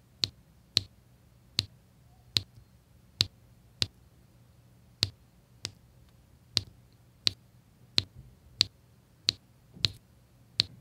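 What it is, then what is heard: Resin diamond-painting drills tapped onto canvas. A drill pen with a metal tip taps small square resin diamond-painting drills into place, one at a time, in rows on a flat adhesive canvas. Fifteen sharp, bright clicks are heard at uneven intervals, each dying away almost instantly, over a faint low hum.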